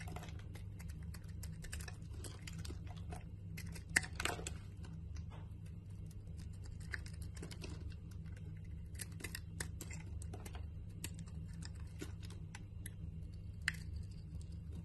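A utility knife blade cuts and scrapes curled chunks off the corner of a solid cream-white bar of soap held in the palm. Soft, crisp scraping clicks and brief bright crackles sound over a steady low hum at a quiet level.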